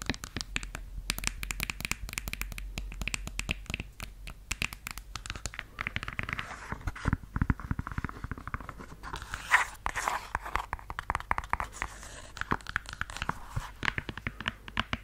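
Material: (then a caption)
Suede. Long yellow nails scratch and rub the suede-look surface and heel of a red high-heeled stiletto pump held close to the mic. The result is a steady stream of dense, fast, crinkly scratching with many short, dry transients and a soft low rumble underneath.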